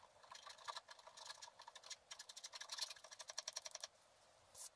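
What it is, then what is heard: Scratch art paper card. A wooden stylus repeatedly scratches and scrapes the black layer off a flat, black-coated scratch art paper card. It makes a quick series of dry, bright scratching strokes with no low end, speeding into a tight run of rhythmic scrapes. A short pause follows, then one last scrape.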